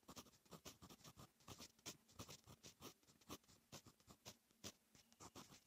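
A fine metal fountain pen nib is written across a lined paper notebook page, making a steady run of short, bright scratching strokes. Each stroke is brief and dry with almost no ring, leaving quiet gaps between them.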